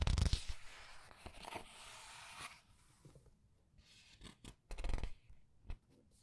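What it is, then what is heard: Paper book pages being turned. Fingers with long red nails lift and turn the printed paper pages of a large open paperback art book lying on a white table. A broad, bright rustle of sliding paper fills the first two and a half seconds, then gives way to quieter pauses broken by short crinkles and soft flaps as the pages settle.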